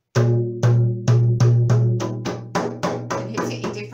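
A large, empty, hollow clear-blue plastic water cooler bottle is held on its side and tapped with the open hand and fingers like a drum. It gives 12 deep, booming hollow thumps pitched around 117 Hz, each ringing briefly. The taps come closer together toward the end.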